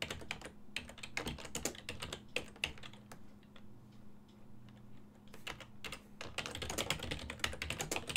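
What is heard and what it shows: Both hands' fingertips type on a full-size black and silver plastic desktop keyboard with keys on a hollow body. Quick runs of short, sharp, bright clicks thin out to scattered taps midway, then pick up again in a fast burst over a faint steady low hum.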